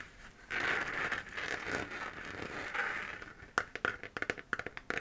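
Long nails scratch across the textured surface of a hollow 3D-printed plastic moon-lamp sphere glowing white as it is held, making a steady dry scraping rasp centered in the upper mids with little low end. After a few seconds the long strokes break into short, sharp scratches and taps, each crisp and quickly fading.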